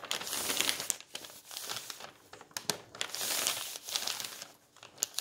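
A palm and fingers rub and press an old paper magazine page flat in a bound volume on a table, then grip and turn it. The result is a strong, bright paper crinkle in swelling and fading bursts, with sharp crackling snaps and almost no low end.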